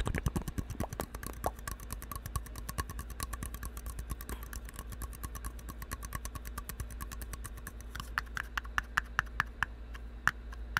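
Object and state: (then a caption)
Empty plastic cup, tapped and scratched. A single empty red plastic party cup, white inside, hollow and thin-walled, is held close to the mic and tapped and scratched with the fingertips and nails. A rapid, steady stream of short, dry clicks with a hollow ring near 1.7 kHz sits over a constant low hum. Toward the end the taps become sparser, louder and sharper.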